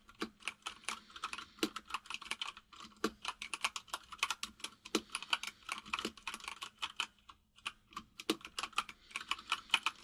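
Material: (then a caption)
Plastic. Fingertips of both hands type rapidly on a full-size mechanical keyboard with white and grey plastic keycaps and a hollow case. A quick, uneven stream of bright, sharp key clicks centered around 2.5 kHz follows, each tap dying away almost instantly, with a short pause near the middle before the typing picks up again.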